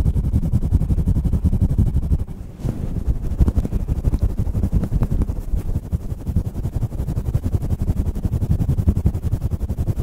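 Fingertips of both hands rapidly scratch and rub a fluffy grey faux-fur windscreen on a stand microphone. The result is a dense, fast, uneven stream of muffled, low, thumping rustles with almost no high end. The sound briefly softens just after two seconds, then continues steadily to the end.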